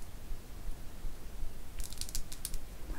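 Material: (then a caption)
Stone. Long acrylic nails tap and scratch a small, solid rectangular bar of dark green mottled stone, possibly serpentine or jade, held in both hands. Faint, crisp clicks with almost no ring come in a quick cluster in the second half of the clip, over a quiet, low rumble.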